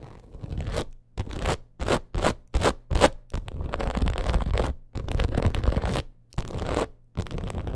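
Long acrylic nails scratch the ridged surface of a black faux crocodile leather purse in quick, separate bursts of dry, gritty scraping. The short rapid strokes give way to longer stretches of continuous scratching, with a dull, low-heavy texture and little high-end sparkle.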